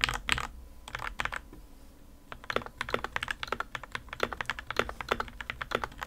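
Fingertips type on the plastic keycaps of a white plastic RK61 60% mechanical keyboard fitted with a foam and tape mod, first with one hand and then with two. Short, crisp keystrokes click and clack with a bright tone and almost no ring, pausing briefly before settling into a quicker, steadier typing rhythm.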